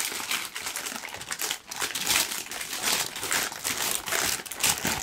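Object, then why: Thin tissue paper sheet. A large, thin, loosely wrinkled pink tissue paper sheet is held in both hands and crumpled with the fingertips. The result is a steady, dense, bright crinkling that swells and dips in loudness, with almost no low end.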